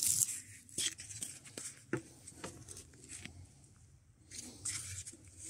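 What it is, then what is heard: Spruce log with bark being stripped. A gloved hand pulls a draw knife down a partly stripped spruce log, a solid softwood log with bark standing at an angle among shavings, scraping and peeling off the bark. Repeated short, bright, rasping strokes with crisp tearing edges come and go over a quiet background, with little low end.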